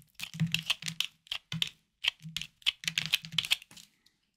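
A hard, solid green bar soap is held in hand over a wooden board and carved and scraped with a small knife, while other soaps lie idle nearby. About 18 short, crisp scraping and crunching sounds come in quick bursts, bright and high with little low end and almost no ring, fading out by the end.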